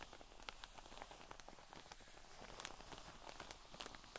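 Long fingernails on both hands scratch and tap across the top of a cotton wool pleat pack lying flat in a clear drawstring plastic bag. Soft, crinkly plastic scratching runs throughout, broken by quick, bright taps that die away almost at once. The overall level stays quiet.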